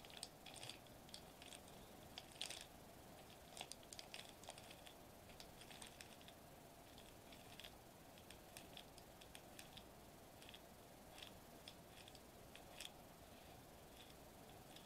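Fingertips tap and scratch a sheet of foil-laminated plastic bubble wrap lying flat on a table. Quiet, bright crinkly ticks and scratches come in scattered bursts, clustering around 3.3 kHz with sharper clicks, over a steady low background hiss. Each tap dies away almost instantly.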